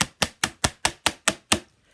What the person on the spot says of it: It's something hard today. Something very hard.